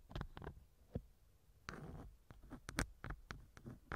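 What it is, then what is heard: Silicone ear being scraped with a wooden pick. A thin wooden earpick scratches inside the left ear canal of a small hollow silicone ear model mounted on a binaural microphone. Close, muffled, low-heavy scrapes and soft clicks come in short bursts, with one longer rough rubbing scrape near the middle. Bright crackles top several of the strokes.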